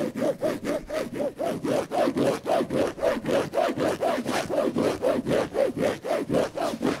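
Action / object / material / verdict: scrape / padded fabric headboard panel / fabric / none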